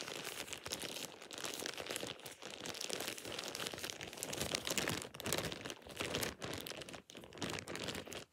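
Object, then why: Thin plastic shower cap. A thin plastic shower cap is squeezed and crinkled by hand in dim light. It makes a steady, bright crackling rustle with sharp crunchy snaps, a few brief pauses, and almost no low end.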